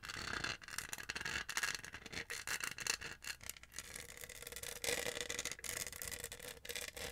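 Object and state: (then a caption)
Plastic studded tumbler. Long nails rub and scratch across the bumpy studs of a tall, hollow pink plastic studded tumbler with a lid and straw. The result is a dense, bright, rasping scratch that runs almost continuously, broken by a few brief pauses, with a faint steady tone near 500 Hz in the second half.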